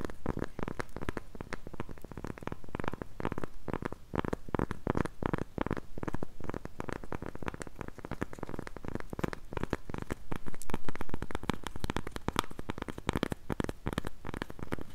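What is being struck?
Cork coaster.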